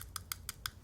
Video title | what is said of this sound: Feb 27, 2019 Live Stream | can you hear that ticking? Yep. It's metal